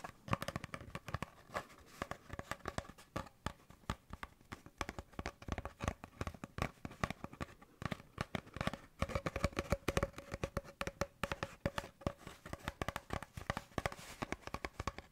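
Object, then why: Cardboard paper towel tube. An empty, hollow brown cardboard paper towel tube is held in the hand beside a furry microphone and worked with fingertips and nails. The result is a dense, continuous run of soft, dull taps, scratches and crinkling of the cardboard, with a hollow, low-heavy tone to each tap.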